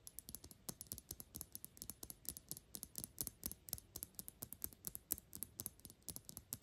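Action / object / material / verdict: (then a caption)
tap / glass perfume bottle / glass / none. Long pink acrylic nails rapidly tap the flat glass sides of a Gucci Intense Oud perfume bottle, a dark glass bottle with a gold cap. The clip is a quiet, uneven stream of sharp, bright clicks and ticks that stop almost instantly, with a faint low thud beneath each tap.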